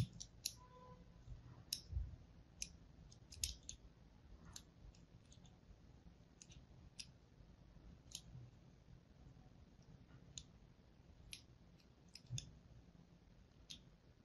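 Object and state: Bar of soap being scored.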